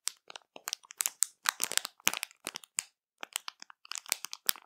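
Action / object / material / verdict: scrape / plastic bag of marshmallows / plastic / none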